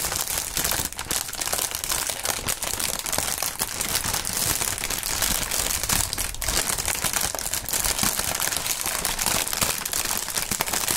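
Clear polyethylene air-pillow packaging film, mostly deflated, is crumpled by the fingertips. It makes a continuous, dense crinkling and crackling with bright, high-heavy texture and many quick overlapping snaps throughout.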